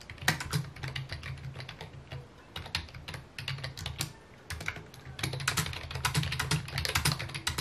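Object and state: Plastic computer keyboard.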